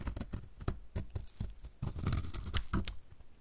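A utility knife blade shaves the remaining piece of a solid, pink-red dry soap bar, which is getting smaller. It makes a quick run of short, dry, crunchy scrapes and crackles with soft low thuds and bright clicky edges, producing crunchy flakes.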